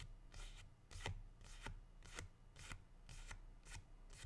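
A single medium matte green leaf is held upright in both hands and rubbed and flicked with the fingertips and dark-painted nails. It gives a quiet, brisk series of dry, crisp rustling swishes at an uneven pace, over a steady low hum.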